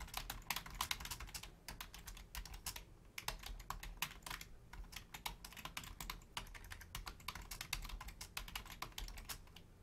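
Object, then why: Plastic membrane computer keyboard. Both hands type continuously with long painted nails and fingertips on a black plastic Logitech full-size membrane keyboard with a hollow casing, resting on a wooden desk, while the mouse stays untouched. The result is a steady stream of quick, bright, clicky key taps that stop dead with almost no ring, laid over a faint low rumble.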